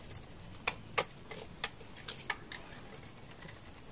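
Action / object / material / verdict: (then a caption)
scrape / bar of soap / soap / none. A utility knife blade scrapes a hand-sized, solid, dark red translucent soap bar, sending shavings falling. Short, crisp, bright scraping ticks come at an irregular pace over a quiet background, each dying away almost instantly.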